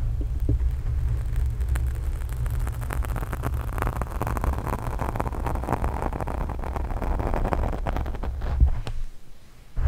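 Long pink nails on both hands scratch and rub a black foam microphone windscreen, making a dense, continuous crackle of scraping over a heavy, boomy low rumble. The sound stays steady throughout, then cuts out abruptly just before the end.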